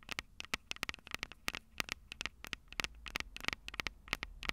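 Long purple nails tap and scratch the metal microphone capsules on a Tascam DR-05 recorder, producing a rapid, irregular series of sharp, bright clicks with almost no ring. Between taps, a soft scratchy rustle and a faint low hum sit underneath.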